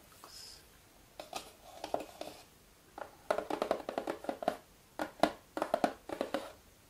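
Fingernails and fingertips of both hands tap and scratch the lid of a small, closed, red printed cardboard jigsaw puzzle box lying flat on a wooden table. Quick, dry taps come in clustered bursts with short scratchy rubs between them. The sound has a papery midrange knock and almost no low end.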